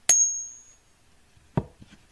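A copper round is ping tested and gives a light, jingly ding typical of copper: one sharp, bright strike whose thin, high ring fades out over about a second. A short, duller low knock follows about a second and a half later.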